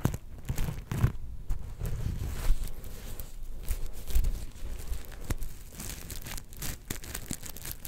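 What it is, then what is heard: Sequin fabric star. Long nails scratch across a palm-sized, soft, star-shaped plush covered in black and gold flip sequins, flipping the sequins back and forth. The result is a dense, crinkly rustling with a heavy low rumble and repeated quick, sharp ticks as the sequins catch and flip.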